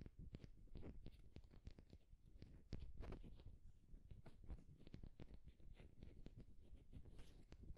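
A solid, smooth, egg-sized wooden egg is held in one hand and tapped and scratched with the fingertips and short nails of the other hand. Quick, dry clicks with almost no ring come in a steady patter over a soft, low scratching rustle. The whole clip stays quiet and close, with most of its weight in the low end.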